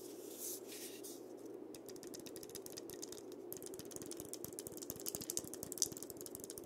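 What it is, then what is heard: Dried-gourd maraca. A hand-sized painted dried-gourd maraca with a wooden handle and a painted parrot, a single hollow gourd likely filled with seeds, is held in both hands and tapped and scratched on the shell with fingertips and nails. A soft, bright scratching hiss gives way to quick, dry, ticking taps that grow denser and a little louder toward the end, with a faint low hum underneath.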